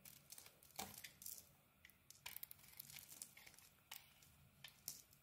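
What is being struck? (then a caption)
Bar of soap cut with a blade. A solid turquoise bar of soap with an orange core is shaved with a utility knife blade held in the fingers. Quick, bright scraping and cutting strokes crackle and crinkle in short bursts with little low end. Thin curls of soap come away with each pass.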